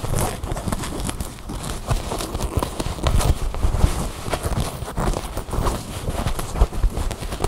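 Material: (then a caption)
Fabric. Long blue nails scratch and rub along the seams and sewn-in care labels of a soft tan cloth garment held in the hands. The result is a steady stream of soft, dull scratching and rubbing sounds, heavy in the low end, with quick brushing strokes and small bursts throughout.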